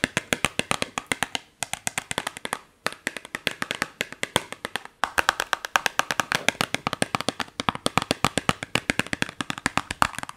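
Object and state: Cardboard box tapped with fingernails.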